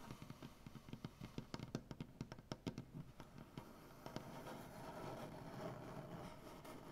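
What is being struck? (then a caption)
Maple wood tabletop. Fingernail tips tap rapidly on a solid, light maple butcher block tabletop with both hands, making about seventeen short, dry, quiet knocks over the first four seconds. The tapping then gives way to a steady, soft scratching as the nails drag along the wood grain.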